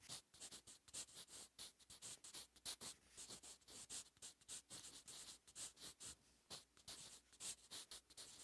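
A wooden graphite pencil held in the fingers scratches across a lined paper notebook page lying flat and solid on a surface, in continuous handwriting strokes. The soft, dry scratching is bright and hissy, with little low end, and comes in a quick run of short strokes separated by brief pauses.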